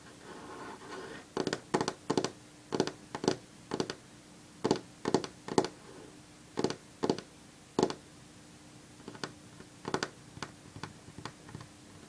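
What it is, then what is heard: Solid wooden tabletop. Long fingernails of one hand tap and lightly scratch a solid varnished wooden tabletop, making sharp, dry clicks with almost no ring. A short soft scraping opens the clip. Bursts of quick taps follow, stronger in the first part and quieter and sparser toward the end.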